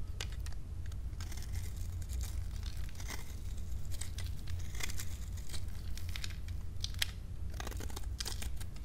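A metal blade cuts and scrapes pieces off a dry, solid, painted pink soap bar scored into cubes and held in the palm. Crisp, bright crunching and crackling scrapes come in quick bursts over a steady low rumble, each snap dying away almost at once.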